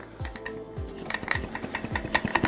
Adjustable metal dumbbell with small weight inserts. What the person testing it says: if you have these 2.5 in here you'll notice a tiny bit of sound